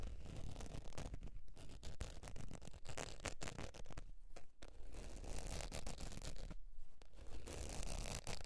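Long pointed nails scratch the surface of a beige textured faux leather zip wallet lying on fur. The result is a steady, dense stream of dry scratching strokes, about two per second and loosely regular, with a soft low rumble underneath and brief bright rasps on top.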